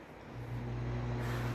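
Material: Nothing is struck.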